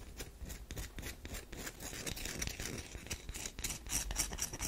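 Long nails scratch into the scored surface of a solid tan DURU bar soap held in the hands. The result is a rapid run of dry, bright scratching strokes with a soft low rumble underneath and almost no ring after each stroke.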